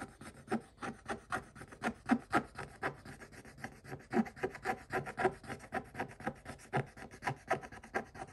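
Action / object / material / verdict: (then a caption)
scrape / scratch-off coated paper page scraped with a stick / coated paper / none. A stick scratches across a scratch-off coated paper page in quick, uneven strokes, making a dry, raspy scraping with bright edges. The strokes come in a steady back-and-forth rhythm of about four per second, each short and clipped with no ring after it.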